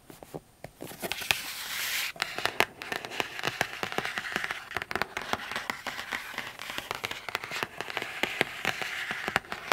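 Long acrylic nails tap and scratch the lid of a large, closed, black matte cardboard inner keyboard box resting on a rug. Many quick, sharp clicks fall over a continuous bright, papery scraping hiss, with almost no low end. Each tap dies away almost instantly.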